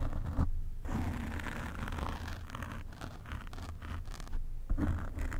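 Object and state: Foam microphone windscreen being scratched.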